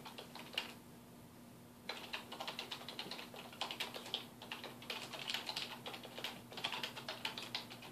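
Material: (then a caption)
Plastic. Fingertips of both hands type rapidly on a black plastic computer keyboard resting on a wooden desk, producing dense, bright, clicky key taps. The typing stops for about a second near the start, then continues steadily, with a faint low hum underneath.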